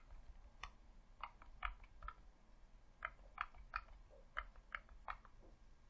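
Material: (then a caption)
Plastic. Thumbs and fingertips click the buttons and D-pad of a hollow red plastic Xbox controller. The result is a quiet, irregular series of short, dry plastic clicks with a mid-range tone and almost no ring, over a faint low background rumble.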